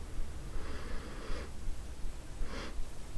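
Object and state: Nothing is struck.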